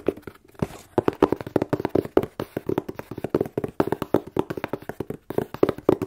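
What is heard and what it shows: A plain, hollow, closed corrugated cardboard shipping box is held sideways and tapped with long nails and fingertips. A fast, uneven stream of short, dry taps follows, each with a hollow, boxy tone and almost no ring. The sharp nail clicks sit on top of the softer fingertip thumps.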